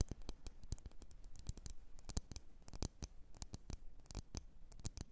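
Long nails tap the rim and sides of a lit, wax-filled red glass candle jar in quick, irregular succession. Each tap is a short, dry click with very little ring, carrying low body and bright clicky tops.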